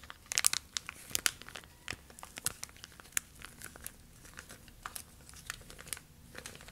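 A thin, clear, flexible plastic sheet or bag is held in both hands and stretched and crinkled by fingertips with long nails. The result is a quiet, bright crinkling made of many sharp, short crackles that die away at once, with almost no low end. The crackles are densest and loudest at the start, then settle into scattered softer crinkles.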